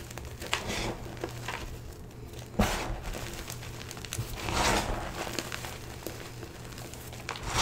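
Both hands press, squeeze and rub fingertips through a bin of crumbled, stale, dyed blue-green gym chalk (magnesium carbonate), crushing the chunks and powder. Soft, dry crunching and crinkly crackles run throughout over a faint low hum, with a sharper crunch near the middle and a brief swell of gritty rubbing just after.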